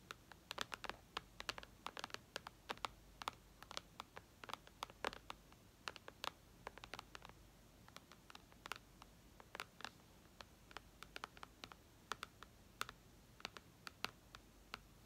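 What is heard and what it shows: Long red nails tap quickly on the glass screen of an iPad lying flat, making dozens of sharp, clicky ticks in irregular bursts. Each tap is dry and bright with almost no ring or low end, set against a faint, steady background hiss.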